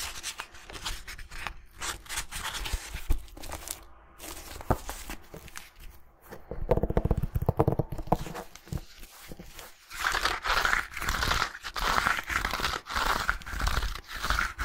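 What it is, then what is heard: Hardcover book handled and scratched. Fingernails handle, scratch and tap the paper pages and cover of a red hardcover book, which is at times opened to show the page edges. Dry, irregular scratches, rustles and soft taps come close together with low thumps underneath. From about ten seconds in, a louder, brighter stretch of steady scratching takes over.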